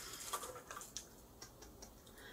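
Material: Glass.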